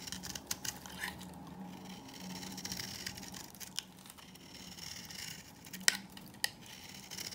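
A knife scrapes an old, solid, dry beige bar of soap held in the hand, shaving off flakes. Soft, bright, crumbly scraping runs throughout, broken by irregular sharp ticks and cracks as pieces break away, with a few louder snaps near the end.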